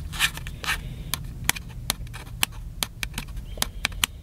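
Fingertips tap and scratch the side of a small black and silver plastic handheld camcorder held upright, its hollow body giving each touch a dry, bright click with almost no ring. A quick, uneven series of sharp taps is mixed with brief scratchy rubs over a faint low hum.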